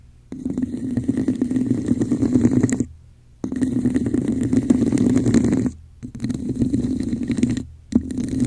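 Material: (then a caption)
Plastic. Long nails and fingertips scratch and tap the patterned surface of a hollow red textured plastic cup turned upside down over a microphone. The result is a dense, hollow, rumbling scratch with a resonant tone around 250 Hz, heard in four stretches separated by brief near-silent pauses.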